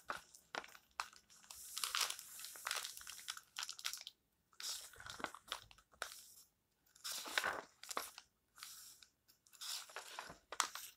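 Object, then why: Paperback book pages, paper. Fingertips rub and turn the paper pages of a small open paperback book, producing crinkly, crunchy rustles. The bright, papery bursts come in irregular clusters separated by brief silences.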